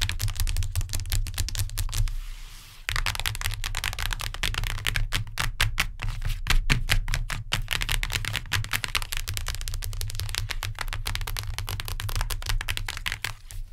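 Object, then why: Hardcover book, cardboard cover. Long nails tap rapidly on the cardboard cover of a hardcover book, making a dense stream of short, dry clicks with a deep low thud under them and bright edges. The tapping softens briefly around the two-second mark, then continues fast and even, fading slightly at the end.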